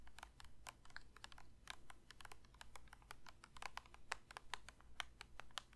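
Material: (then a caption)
Plastic. A plastic lotion bottle is lightly tapped with the fingers in quick, uneven bursts, each tap a short, dry click. The taps are brief with almost no ring and carry a hollow mid-range tone around 900 Hz, over a steady low hum.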